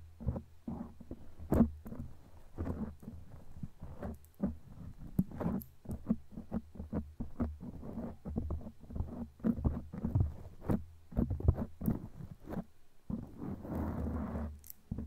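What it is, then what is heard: Foam microphone cover being scratched. Long glittery claw nails on both hands scratch and tap a black foam windscreen on a microphone. The result is a quick run of dull, muffled scrapes and thumps, heavy in the low end with no high brightness. A thicker rustling burst comes near the end.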